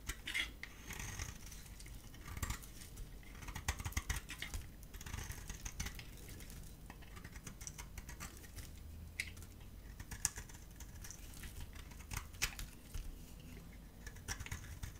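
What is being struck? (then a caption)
Bar of soap cut with a knife blade. A gold utility-knife blade carves a dry yellow and white solid bar of soap in repeated scraping strokes. The result is a steady stream of quiet, dry, crackly scrapes with bright, crisp flecks over a soft low rumble, each stroke short with no ring.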